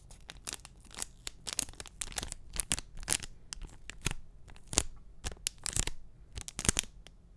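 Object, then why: Enamel pin on a cardboard backing card. A small, flat printed cardboard backing card holding an enamel pin is handled close to the mic, scratched and tapped with short fingernails. A quick, irregular run of dry, bright clicks and scratchy rasps sounds out, each dying away almost instantly over a faint low rumble.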